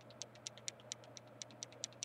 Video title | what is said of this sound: RPC Review - Picking a Stylus - Wacom Bamboo, Cintiq, Motion, and more... | shake it you can actually hear moving parts inside